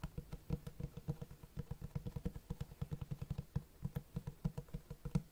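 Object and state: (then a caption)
Hardcover book with cloth cover. Fast fingertip tapping on the cloth-textured front cover of a large black Berserk Deluxe hardcover book. It gives a steady run of soft, dull, low thumps around 145 Hz, each dying out almost at once. The rhythm is quick and slightly uneven, with a few louder taps.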